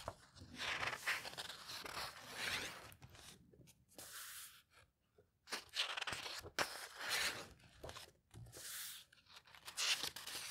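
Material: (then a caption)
Paper. Fingertips flip the thin, aged paper pages of a vintage botanical book lying open and press them flat. Bright, crisp rustling and crinkling swells in bursts, separated by brief quiet pauses. The papery sound stays light, with almost no low end.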